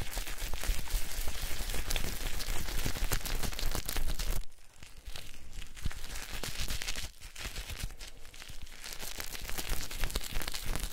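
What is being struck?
Wet bar of soap and cloth.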